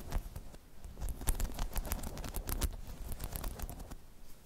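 Long chrome nails scratch across a hollow, dome-shaped spiky rubber balance hemisphere, making a rapid, uneven patter of soft scraping clicks. Each touch is short and dry, with a dull, low thump under brief bright ticks.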